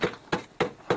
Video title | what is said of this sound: Arche Noah 2/6 DOKU NEU 2012 | it's wood okay it's Hollow listen to that sound